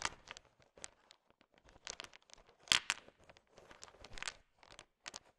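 A heap of small, hard, sugar-shelled candy-coated peanut M&Ms is stirred with a thin wooden stick. Quick, bright clicks and dry rattling crunches come in short, scattered bursts with no lingering ring, the loudest clatter landing near the middle.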